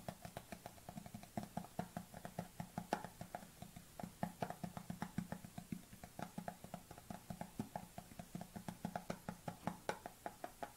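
Fingernails tap quickly and steadily on the lid edge and side of a white plastic supplement tub held at a tilt, with a black tub resting idle on the table. The clicks are short and dry, with a hollow mid-low body and a slight plastic ring, repeating at an even pace throughout.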